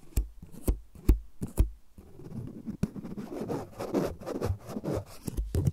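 A small, solid white plastic USB power adapter with metal prongs is held in the hands and tapped and scratched with long nails. Sharp, separate taps open the clip, followed by a steady rasp of scratching with a few more taps near the end.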